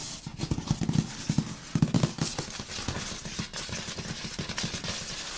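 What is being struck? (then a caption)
Large cardboard box. Both hands tap, scratch and rub with fingertips and nails across the front of the large printed cardboard box of an LG sound system, which is hollow with its contents inside. Dull, low, hollow taps mix with bright scratching and rubbing, the taps coming in quick clusters early on and then softening into steady scraping.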